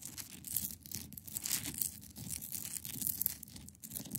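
Long pointed nails scratch across the top of a large solid clear ice block resting on a fabric surface. The result is a quiet, continuous bright scraping hiss that swells and fades in uneven strokes over a low rumbling undertone.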